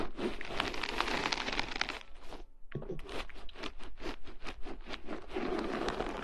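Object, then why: Metal mesh microphone grille. Long nails scratch and tap across two bare, hollow metal mesh microphone grilles, producing dense, crunchy, bright scratching. The scratching pauses briefly, then returns as a quick run of separate rasping strokes before settling back into continuous scraping.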